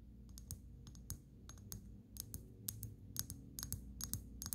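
A small brown amber glass dropper bottle with a black dropper cap and paper label, partly filled with liquid, is held close and tapped with long natural fingernails on its glass sides and neck. A series of quick, light, irregular clicking taps with bright, sharp attacks and almost no ring sits over a steady low hum.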